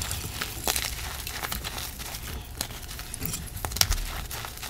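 A hand with long black nails crushes and rubs a piece of a broken white gym chalk (magnesium carbonate) reform slab, lying in chunks on a dark surface, into powder. Dry, bright crunches and crackles snap out over a steady gritty rubbing, with a soft low rumble underneath. The solid, crumbly chalk breaks down into powder.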